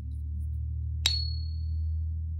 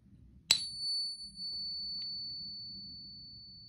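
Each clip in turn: First: fine silver coin, short ring. Second: genuine 90% silver coin, long ring.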